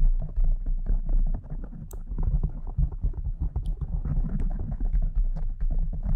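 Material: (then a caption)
Foam. Long nails scratch and rub a pink foam windscreen on a microphone with both hands. The result is a dense, muffled, low rumbling rustle with quick scratchy bursts and occasional bright ticks.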